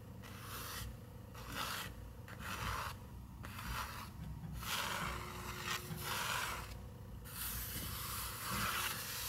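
Long nails and fingertips scratch and rub across the paper page of an open picture book. Bursts of bright, dry scraping alternate with brief quieter pauses over a steady low rumble.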